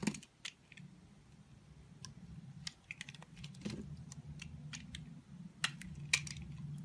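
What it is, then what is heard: Soap bar carved with a knife. A green-handled utility knife blade carves and scrapes a solid olive-green embossed soap bar held in the hand, peeling off curls. Irregular, sharp, bright scraping clicks and crisp snaps sound over a low, steady background hum.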